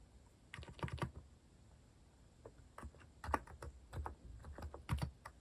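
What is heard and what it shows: Typing on a compact white-cased mechanical keyboard with plastic cat-themed keycaps, with fingertips pressing the keys in steady bursts. Short, dry clicks come in quick clusters separated by brief pauses. Each keystroke carries a soft low thock under a crisp click.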